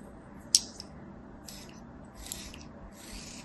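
A palm-sized solid kinetic sand ball held in the hand is sliced with repeated cuts of a thin metal knife blade. A sharp, bright tick opens the clip, followed by soft, high, hissing scrapes and grainy crumbling as the blade draws through the sand.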